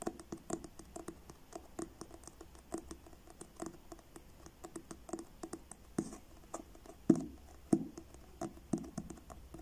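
Fingertips tap slowly and unevenly on the cover of a solid paperback book with a blue card cover, making soft, dull, papery taps with almost no ring. Near the end the book is tilted, and a few louder knocks and faint rustling follow.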